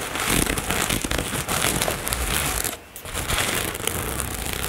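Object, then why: Nylon fabric cosmetic bag. Long nails scratch across a black floral nylon toiletry bag, with fast scratching near the zipper. The result is a dense, continuous rasping crinkle with bright, hissy texture and a low rumble underneath. The scratching drops to a brief near-silence just before the 3-second mark, then resumes as busily as before.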